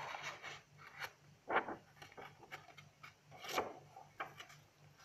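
Long acrylic nails and fingertips rub and scratch across the pages of a spiral-bound lined paper notebook with a blue cover, lying open on a table, and handle its cover. Quiet, dry scratching and papery rubbing come in short, irregular strokes, with two louder swishing scrapes standing out over a faint steady low hum.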